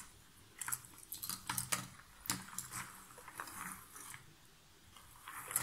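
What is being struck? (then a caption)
Loose cardboard jigsaw puzzle pieces in a box. Long nails stir and rummage through a pile of loose cardboard jigsaw puzzle pieces in an open box. Quiet, dry, crackly rustles and sharp, bright clicks come in uneven bursts as the pieces shift and knock together, with short pauses between them.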